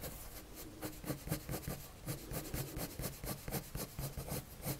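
A blue colored pencil rubs slowly across a white paper sheet on a table while drawing. A steady run of soft, scratchy strokes rises and falls in a quiet rhythm, with a papery hiss and a low, dull body underneath.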